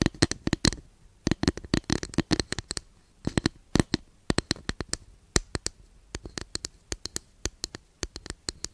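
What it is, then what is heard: Wooden incense holder tapped and scratched with nails. Long nails scratch and tap a long, flat, thin, solid wooden incense holder held behind the microphone. Many quick, dry, woody clicks with bright edges come in short bursts, separated by brief pauses and faint scratching. Each tap is sharp and dies out almost instantly.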